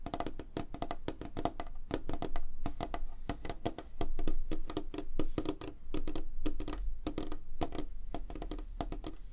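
Fingertips and nails of both hands tap rapidly on a flat, solid, light wooden tabletop. The result is a fast, irregular stream of short, dry knocks with a woody tone around 312 Hz, a low thump underneath, and bright clicky edges. Each tap dies away quickly, and the loudness swells and dips as the tapping moves around.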